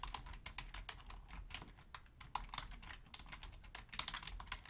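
Long nails type steadily on a black Logitech full-size plastic keyboard resting on a wooden desk, with the hands staying on the keys. A rapid, uneven stream of short, bright plastic clicks and taps dies away almost instantly over a faint low rumble.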